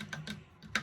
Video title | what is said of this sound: Nicks-ellaneous ASMR 1st Whisper Edition Tingles 1 SD 480p | It's not a hollow bottle